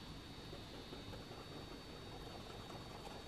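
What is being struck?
Nothing is struck.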